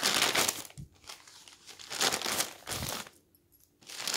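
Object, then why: Newsprint newspaper. Fingertips lift and turn the pages of a thick newsprint newspaper lying on a table, one after another. The thin paper gives bright, crinkly rustles in bursts, with brief quiet gaps between the turns.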